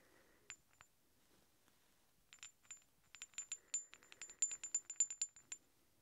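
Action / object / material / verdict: knock / two large steel hex bolts / steel / none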